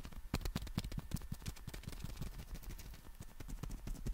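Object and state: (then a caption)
Folded nylon umbrella. Fingertips and nails tap and scratch the fabric of a folded black nylon compact umbrella held in both hands. A rapid, uneven series of soft, dry taps with low thumps and brief bright clicks runs throughout, each dying away almost instantly over a faint scratchy rustle.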